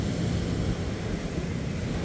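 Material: Nothing is struck.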